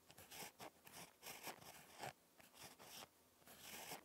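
A ballpoint pen tip scratches across a lined spiral notebook page while handwriting. The result is a series of short, bright, dry scratching strokes separated by brief quiet gaps.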